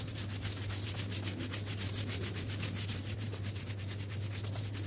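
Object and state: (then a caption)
Woven fabric rug being scrubbed. A long-handled broom with orange plastic bristles scrubs back and forth, fast, over a small, flat, wet, soapy woven rug with a geometric pattern lying on a concrete floor amid water and suds. The strokes make rapid, continuous, bright scratchy swishes over a steady low hum around 113 Hz. The sound stays at an even level throughout.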